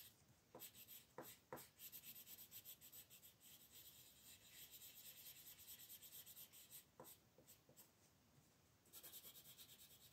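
A wooden colored pencil rubs and scratches brown shading onto the antlers on a thin white paper coloring sheet lying on a wooden table, while the other hand holds the sheet. The quiet, bright, papery scratching comes in quick, uneven strokes, broken by four sharper ticks. Near the end, a louder burst of fast strokes follows.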